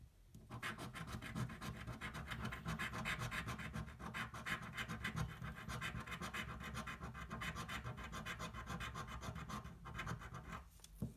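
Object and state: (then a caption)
Cardboard scratch-off lottery ticket. A thin, flat cardboard scratch-off lottery ticket, held flat on a table, is scratched with the edge of a coin. Quick, steady back-and-forth rasping strokes run for about eleven seconds, with a papery scrape over a low rumble. The sound fades briefly near the end before one last scratch.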